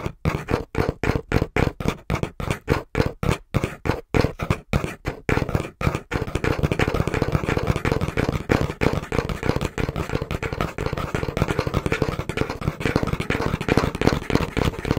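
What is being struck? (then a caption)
Cardboard box. Fingertips rapidly and rhythmically tap the front panel of a small, brown, hollow cardboard box held in both hands. For the first six seconds each dull, low, hollow thud stands apart, then the tapping speeds up into a dense, continuous patter with a faint brighter rustle.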